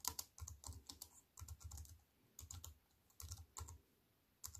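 Fingertips with long white-painted nails type on a slim wireless keyboard with a silver aluminium frame and black plastic chiclet keys, resting on a wooden table. Quick bursts of crisp, bright key clicks, each with a soft low thud underneath, come in short runs separated by brief quiet pauses. Each tap dies away almost instantly.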